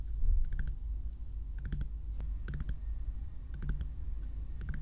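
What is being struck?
Hollow plastic bear-shaped night lamp.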